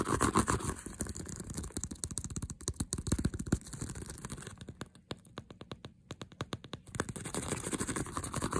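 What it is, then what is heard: Faux leather handbag scratched with nails. Fingernails rapidly scratch and tap the smooth leatherette front of a hollow white-mint faux leather handbag printed with "Sweet Girl." A quick, uneven stream of short, dry scrapes and clicks with a low hollow body and little ring runs throughout. It gets denser and softer in the middle, then returns to a steadier rasp at the end.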